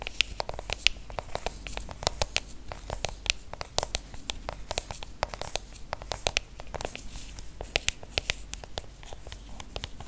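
Fingertips and long nails tap rapidly on the aluminium back of a silver iPhone held close up. The result is a dense, uneven patter of sharp, bright clicks that stop dead with no ring, over a faint low rumble.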